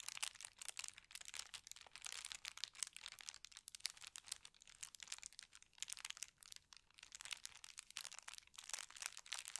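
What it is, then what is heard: Tissue paper sheet. Fingertips and painted nails slowly rub and scratch across a flat, thin white tissue paper sheet with a gold star print. The result is a quiet, continuous stream of soft, bright crinkling and scratchy rustles with no low-end body.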